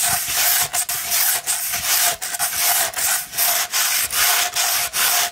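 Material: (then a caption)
Sandpaper. Long red nails quickly scratch a rolled tube of 240-grit sandpaper. The result is bright, gritty rasping in a steady run of strokes, each broken by a brief pause, with a faint steady tone underneath.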